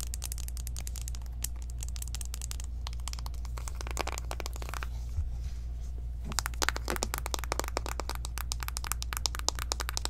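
Long nails tap quickly along the edges and faces of a small, hollow pink cardboard eyeshadow palette box. The result is a dense stream of short, dry, bright clicks over a steady low hum, with a brief thinner stretch midway before the tapping grows busier again.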